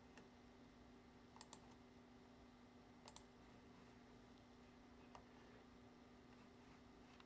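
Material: Plastic.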